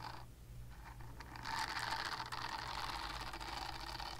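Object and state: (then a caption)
Silicone scrubber being scratched. A palm-sized purple silicone body scrubber with bristle nubs, solid and flexible, is scratched with long painted nails. Quiet, uneven scratching and soft rasping build after the first moment into a denser, brighter scrape around 1 kHz and higher, with a steady low hum underneath.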